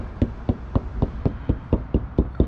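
Ten even taps on a spot on a motorhome's rear wall panel give short, dull, low thuds with almost no ring. The spot sounds hollow, so it is unsuitable for mounting the Fiamma Carry-Bike UL bike carrier rack.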